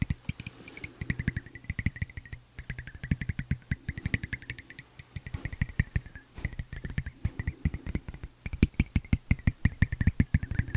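A thin, flat, solid tempered glass phone screen protector is scratched and tapped along its edge with a red-tipped fingernail and the fingertips. A rapid, steady stream of short, dry clicks and taps, each with a soft low thump, sits over a faint scratchy hiss with a bright edge. The taps die away almost instantly, and the pace stays busy throughout.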